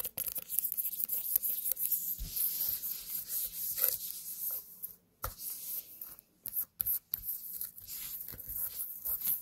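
A small white pumpkin is held and then set on a table while long nails rub and scratch its surface. The result is a dense, bright, papery scratching with quick, short-ringing strokes, broken by a few brief silent gaps in the second half.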